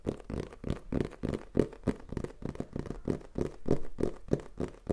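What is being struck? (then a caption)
Printed cardboard box. A black printed Tascam cardboard product box, held in the hand, is tapped and scratched with fingertips and nails. Quick, uneven taps and scrapes run throughout, giving a dull, papery patter with low-mid body and little brightness. Each tap dies away almost at once.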